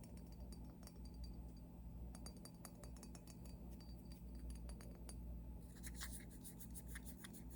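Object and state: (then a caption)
Glass skull bottle. A glass skull-shaped bottle, formerly a vodka bottle and now filled with eye shadow, is tapped repeatedly. The taps make light, bright glassy clinks over a steady low hum, and they grow quicker and denser toward the end.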